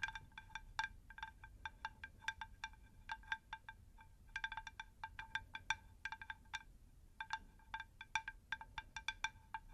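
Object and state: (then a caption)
Terracotta plant saucer. A round, shallow, rigid unglazed terracotta plant saucer is held in both hands and tapped with long nails. It gives bursts of quick, bright, chime-like clicks with a clear ringing pitch near 1.6 kHz and high overtones, each dying away almost at once. Brief pauses separate the bursts over a low background rumble.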